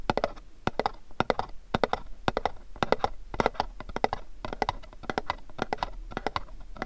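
A pink cube-shaped cardboard candle gift box is turned in the hands while fingernails tap and scratch its surface. A rapid, uneven series of dull, hollow taps centered in the midrange is heard, each dying away almost instantly, with soft scratchy rustling between them.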